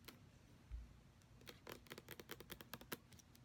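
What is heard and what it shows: Fingernails tap quickly on the body, base and pump area of a white plastic lotion bottle with a brown pump that appears full. The result is a rapid run of short, dry, bright clicks with almost no ring, plus a soft low thump early on.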